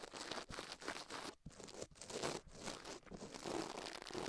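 Toothbrush bristles scrub fast across the left soft silicone ear of a binaural microphone mounted on a metal mic plate, while the other gloved hand stays still. The result is a dense, bright, crunchy scratching that runs almost continuously, broken by a few brief pauses.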